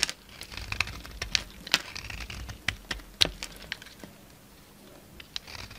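A utility knife blade shaves crumbly chunks and flakes off a solid, mostly white bar of soap held in the palm. The sound is a run of crisp, bright scraping clicks and crumbly crackles with sharp, dry attacks, over a quiet low hiss.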